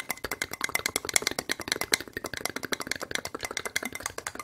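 A single small, clear, ribbed plastic medicine cup, hollow and empty, is tapped and scratched quickly with long red acrylic nails close to the microphone. About 37 rapid, dry, bright clicks and scratches come in a dense stream, each dying away almost instantly, with a faint recurring tone near 2.1 kHz and almost no low end.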